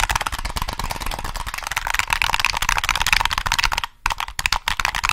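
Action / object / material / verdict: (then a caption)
tap / plastic game controller / plastic / none. Fingertips press the triggers and tap the body of a black, hollow plastic PS3 game controller held close to the mic. A rapid, dense stream of bright, dry plastic clicks and taps continues throughout, with a brief pause near the four-second mark before the tapping resumes.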